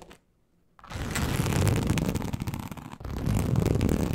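Long acrylic nails scratch across a large, flat, teal snakeskin-embossed leather sheet. After a brief near-silence, a dense, rough scratching starts at about 0.8 seconds and runs steadily, heavy in low, rumbling tones with little brightness. It breaks for a moment near 3 seconds, then resumes just as strongly.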